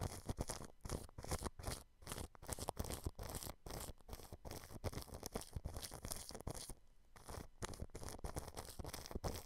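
A thin paintbrush brushes clear cling film stretched over the grille of a white dome microphone. The result is a dense run of soft, crinkly scratching strokes with a heavy low rumble and brief pauses.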